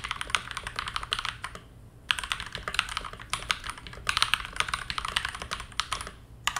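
Both hands type continuously with fingertips on a modded TM680 hotswap 65% mechanical keyboard with a teal plastic case, KTT Mint linear switches and dark plastic keycaps, resting on a desk mat. The result is rapid, crisp, bright clacks peaking near 2.9 kHz with almost no ring or low-end thud. The runs of keystrokes break for a short pause near the two-second mark.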